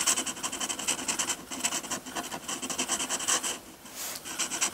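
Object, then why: Metal pen nib scratching textured paper. A metal dip-pen nib in a wooden holder scratches dense hatching across a sheet of textured white drawing paper. Rapid, bright, raspy strokes repeat in quick rhythm with almost no low end. The scratching briefly softens near the end before picking back up.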